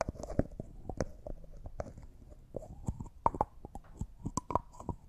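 Fingers and nails turn and rub the white plastic screw lid on a small, empty, clear thick glass cosmetic jar. The result is a quiet, close series of sharp clicks and scratchy taps with a faint ring around 900 Hz, each dying out almost instantly.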